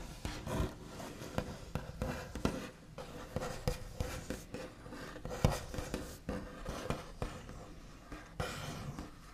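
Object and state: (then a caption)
Wooden tabletop, solid. The backs of long fingernails tap and scratch across a solid, flat, white-finished wooden tabletop, also tracing along its surface. The result is a quiet, irregular run of dry, scratchy taps and rubbing that die away almost instantly, with most of the energy low and dull rather than bright.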